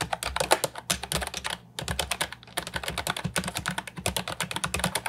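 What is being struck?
Plastic keyboard with round keycaps.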